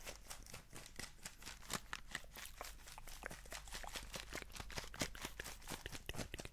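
Fingertips and nails scratch and tap the sides and lid of a small, printed paper instant noodle cup that is sealed and likely full. The result is a fast, steady run of crisp, dry taps and papery scratches with bright edges. Each tap stops almost at once, over a faint low hum.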